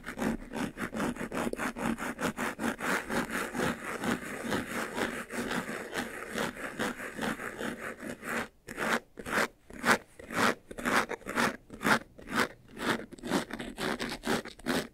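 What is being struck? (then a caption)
Faux leather jewelry box. Fingertips and nails scratch and rub the front panel of a closed, hollow, medium white textured faux-leather jewelry box. A dense, fast, steady rasping fills the first half, then breaks into distinct, separated scratchy strokes at about two per second, dry and mid-to-bright with little low end.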